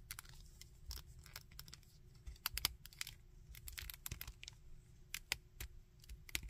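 Fingertips click the joints and scratch the head and arms of a small, painted plastic Iron Man action figure. Quiet, sharp, bright clicks and short scratchy crackles come in irregular bursts over a low, steady rumble.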